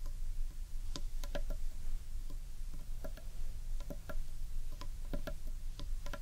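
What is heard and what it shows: Long nails tap and scratch the sides and top of the underside of a large hollow carved wooden bowl, making quick, dry clicks with a brief hollow ring, scattered unevenly over a steady low rumble. The taps are short and crisp, each fading almost at once.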